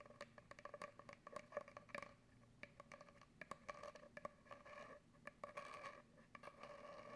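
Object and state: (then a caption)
Cardboard tube scratched with fingernails. Long acrylic nails scratch and scrape lengthwise along an empty, hollow brown cardboard paper towel tube. The result is a quiet run of quick, dry scratching taps and patter, each with a short hollow ring near 580 Hz and 1.2 kHz, broken by brief scraping passages.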